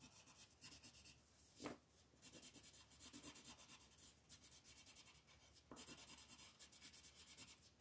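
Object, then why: Colored pencil on a paper coloring page on a wooden table. A blue colored pencil is scratched and rubbed across a flat paper coloring page on a wooden table to fill in waves, while a second pencil lies still on the page. The quiet, bright, papery scratching comes in rapid back-and-forth strokes, with a louder brief swipe near the start and short pauses before the rhythmic shading resumes.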